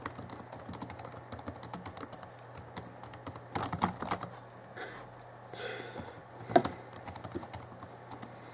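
Both hands type slowly with their fingertips on the backlit chiclet keyboard of a 2011 Alienware M11x2 laptop, whose keys are plastic. Around forty short, dry plastic key taps are heard, a few a little louder than the rest. A faint low hum runs steadily underneath.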